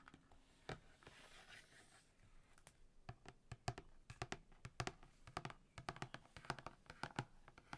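Long painted fingernails of both hands tap across the top and side of the glossy laminated printed cover of a large, thick recipe ring binder lying closed on a table. A soft scratchy rustle comes first, then a quick, irregular run of short, dry, clicky taps with a dull low thump under each. The taps die away almost instantly.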